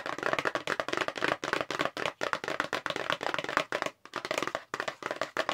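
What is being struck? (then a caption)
Paperboard box. Long pink nail tips tap rapidly on a long, hollow, light-blue "multi-tasker" paperboard makeup brush box held in both hands. The result is a fast, dense run of dry, papery clicks centered in the midrange near 1 kHz, with almost no low end and a little brightness on top. Each tap dies away almost instantly, with short pauses between bursts.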